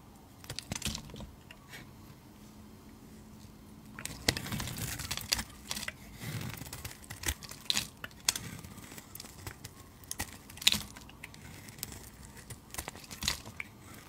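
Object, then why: Bar of soap. A solid blue bar of soap held in the hand is shaved with a utility knife blade that peels off long curls. Short, bright scraping and crackling strokes come in irregular bursts over a quiet background, with the densest shaving in the middle of the clip.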